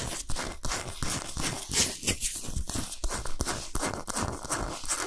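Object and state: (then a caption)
Himalayan salt block scratched and tapped. Long nails scratch and tap fast on a large, flat, solid pink Himalayan salt block. The result is a dense, gritty rasp with bright, hissy highs, broken by quick, sharp taps that carry a dull low thump and die away almost at once.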